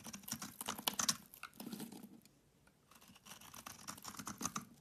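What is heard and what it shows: A metal utility knife scrapes chunks and shavings off a hand-held solid bar of soap, green-coated with a yellow interior, until the bar becomes a small piece. Dense, crisp, bright scraping and crackling comes in two bursts, separated by a brief quiet pause near the middle.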